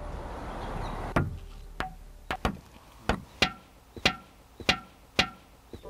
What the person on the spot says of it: 두들겨 보니까 정말 종소리처럼, 종을 치는 것처럼 종 소리가 나니까